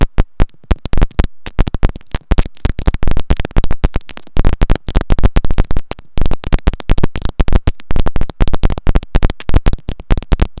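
Long nails rapidly tap and scratch the white plastic in-line remote and mic of a pair of wired earphones with a looped cable. Over about ten seconds, a dense, nearly continuous stream of close, deep thumps is heard, with brief pauses and a faint bright scratching edge. Each tap decays quickly.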